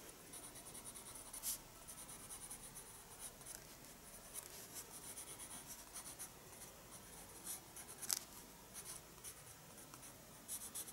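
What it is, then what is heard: Pencil drawing in a spiral sketchbook. A graphite pencil is drawn in short strokes across the page of a small spiral-bound paper sketchbook, a solid stack of sheets lying flat on a wooden desk. The result is a quiet, steady, bright scratching, with a few sharper strokes standing out above the dry, hissy texture.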